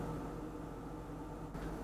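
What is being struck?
Nothing is struck.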